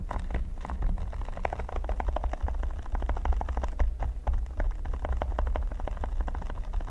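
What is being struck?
Silicone pyramid mat.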